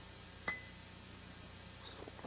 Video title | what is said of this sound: ZOOM Season #5 Episode #155 (2003) | they're all the same sound